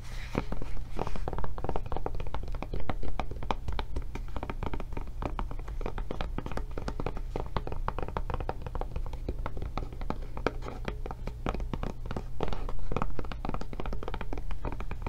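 Long dark nails tap rapidly and irregularly on the textured back of a blue silicone rubber tablet case held sideways. The taps are short, soft and dull thuds with little ring, over a steady low hum.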